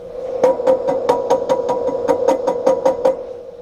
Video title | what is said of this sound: Carver C 19: Troubleshooting a "Simulated Microphonic" Tube | you hear that sound and when we tap on it it is actually microphonic